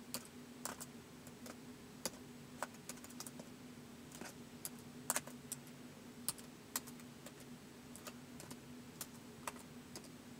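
Fingertips tap the plastic keys of a white polycarbonate laptop keyboard in slow typing, with about two dozen short, bright clicks spaced unevenly across the clip. Each tap is crisp and dies away almost at once, over a quiet, steady low hum.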